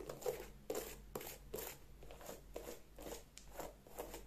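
Long nails scratch and tap the leather upper and the side of the rubber sole of an empty white leather sneaker held in the hands. About eight soft, dry scraping strokes with brief taps repeat at an irregular pace, each with a bright, papery texture over a low, steady hum.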